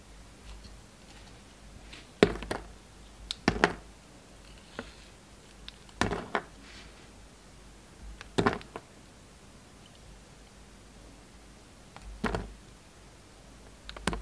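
A solid black-and-white striped bar of soap, held in the hand, is cut and carved with a steel utility knife blade. Short, dry scraping and crisp slicing bursts come every second or two, with quiet pauses and faint low hum between them.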